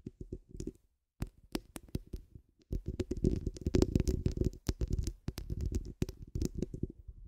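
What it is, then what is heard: Metal mesh microphone grille scratched. Long pointed acrylic nails scratch a hollow steel mesh microphone head cupped in both hands, producing dense, low, muffled scratching and thumping with brief crisp clicks. The bursts come in quick clusters, with a short silence near the start before the scratching resumes and grows busier.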